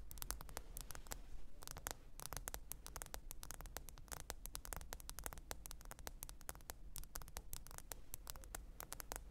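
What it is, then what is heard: Smartphone glass screen. A smartphone lies flat with its glass screen facing up on a fur rug while long acrylic nails tap and scratch across the glass. Rapid, sharp, dry clicks come in quick irregular bursts with no ring, over a quiet steady low hum.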